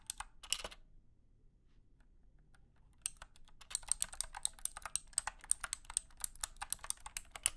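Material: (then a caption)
Plastic. A wired, compact 60% mechanical keyboard with white and blue plastic keycaps and clicky switches, resting on a carpeted surface, is typed with the fingertips of both hands. A few sharp keystrokes come first, then a pause of about two seconds, then steady continuous typing of crisp, bright clicks with very short decay.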